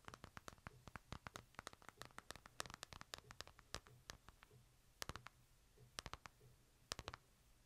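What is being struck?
Smartphone with glass face and metal frame.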